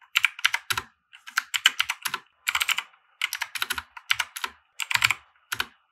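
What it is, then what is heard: Plastic mechanical keyboard being typed on. Fingertips of both hands type on a compact 60% mechanical keyboard with white plastic keycaps and RGB lighting, resting on a felt desk mat. About 29 short, dry, bright plastic keystrokes come in quick bursts separated by brief pauses, each click dying away almost instantly.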